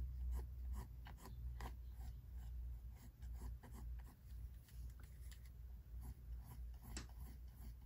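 A pink mechanical pencil tip is drawn across a large white paper page in a spiral-bound sketchbook lying flat on a wooden desk, in sketching strokes while the other hand rests still on the page. Short, quiet scratching strokes repeat over a steady low hum.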